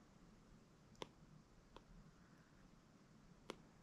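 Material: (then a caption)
Glass. A plastic stylus held in the fingers draws wavy strokes across the glass screen of an iPad, a flat solid tablet touchscreen, its tip scraping and tapping the glass. A few short, sharp, bright clicks stand out, spaced apart, over a quiet steady low hiss with faint soft scraping between them. Each tap stops almost instantly with no ring.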